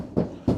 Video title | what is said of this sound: #встановлення #рекомендації #своїмируками #ворота #відкатніворота #каркас #фурнітура | І вони вообще глухі, тобто ніде не тарабанять